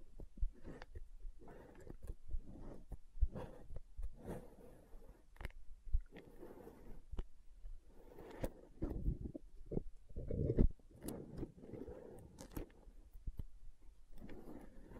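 Long nails tap and scratch the side wall and lid edge of a translucent green plastic aloe gel tub held sideways. Quiet, dull, low-pitched taps and scrapes come in quick, uneven bursts, with brief sharp clicks that stop at once and no ringing.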